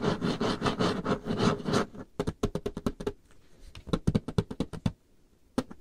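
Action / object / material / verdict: tap / varnished wooden tabletop / wood / none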